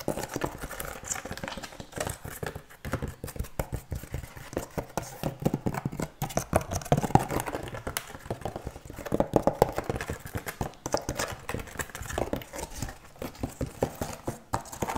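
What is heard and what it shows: A large, rough, solid piece of natural cork bark with a textured surface is held upright and tapped and scratched with long nails. The result is a fast, continuous stream of short, dry, dull clicks and taps with scratchy rustling between them, steady for the full 15 seconds.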